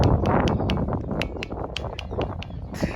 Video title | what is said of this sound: గండికోట --RAYACHOTY to GANDIKOTA -- GRAND CANYON OF 🇮🇳 INDIA -- IN TELUGU | కొడితే మాత్రం రాయి సౌండ్ వస్తుంది